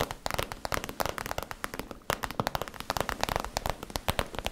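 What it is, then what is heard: Crinkly plastic pouch tapped with nails. Long nails tap and scratch the crinkly surface of a small, soft, hollow iridescent holographic vinyl/PVC zip cosmetic pouch held in both hands near the face. Dense, rapid, crackly taps with bright, sharp transients follow one another almost continuously, with only a brief lull partway through.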